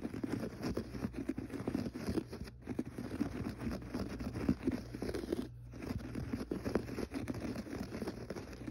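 Fingertips scratch and pat the pile of a gray textured carpet on the floor. A dense, soft scratching and rustling texture, full in the low mids with little brightness, runs throughout over a faint steady low hum. There are brief pauses near 2.6 and 5.6 seconds.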